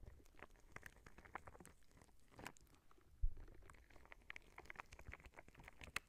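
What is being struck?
Soft clear rubber spiky ball.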